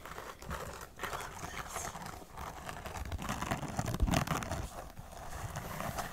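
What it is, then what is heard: Suede boot tapped and scratched. Long acrylic nails tap and scratch the suede shaft of a tall, beige, perforated suede heeled boot held up in a hand, hollow and empty. The result is a steady, irregular stream of soft, dull taps and muffled low thuds mixed with dry, scratchy rustling.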